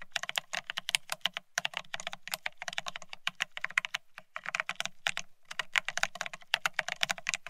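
Fast typing with the fingertips of both hands on a full-size beige split ergonomic keyboard with plastic-looking keycaps. It gives a dense run of short, bright, clicky taps with almost no ring, broken by a few brief pauses.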